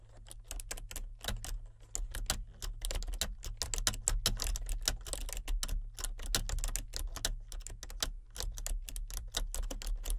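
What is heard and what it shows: A solid, full-size plastic membrane computer keyboard with a colour-changing backlight is typed on continuously with the fingertips of both hands. Rapid, short, bright clicks and taps run steadily throughout, each dying away almost instantly, over a constant low hum.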